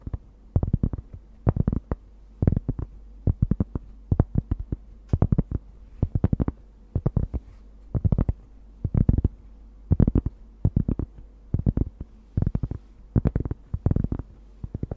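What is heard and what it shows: A large, thin, solid round cork disc, held in both hands in front of the microphone, is scratched and tapped across its surface with long nails. Quick clusters of dull, soft taps and light scratches come in short bursts, with most energy in the lows around 150 Hz. Each tap dies away almost instantly, with near silence between bursts.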